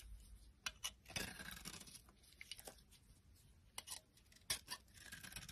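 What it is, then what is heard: Dry bar soap being carved. A metal utility knife blade carves and scrapes a solid, dry white soap bar with red traces from its coating. Quiet, bright scraping is broken by short, sharp crisp clicks and brief crackling bursts that fade almost at once.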